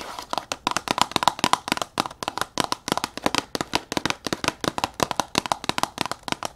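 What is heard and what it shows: A tall red printed cardboard box, held upright, is tapped and scratched very fast with long nails on its front and sides. The result is a rapid stream of dozens of dry, papery clicks and scrapes, bright and crisp with almost no low end and no ring after each hit.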